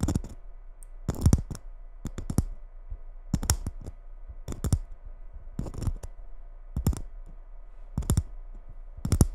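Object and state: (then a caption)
Glitter Christmas bauble. Long red nails tap the surface of a gold glitter Christmas ball ornament held against a microphone. Short, sharp clicking taps come in irregular clusters with a bright edge and almost no ring. A steady low hum runs underneath throughout.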